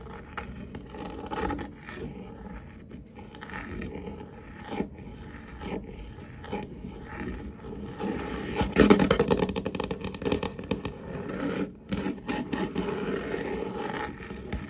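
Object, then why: Varnished wooden tabletop. Fingertips and nails of both hands scratch and scrape across a large, solid wooden tabletop with a glossy varnished finish. The rapid, irregular rustling scrapes are mostly low and mid in tone and swell into a louder, denser burst of scratching in the second half before easing off again.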